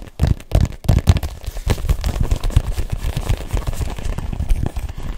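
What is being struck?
Inflated rubber ball.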